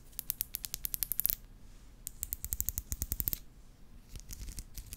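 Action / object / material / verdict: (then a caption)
flick / plastic hair comb with fine teeth / plastic / none. Long nails and fingertips run and flick across the fine teeth of a small, solid black plastic hair comb held in front of the microphone, plucking and scratching it. Quick, bright, dry clicks come in rapid runs of ticks that stop short, separated by brief pauses, over a faint low rumble.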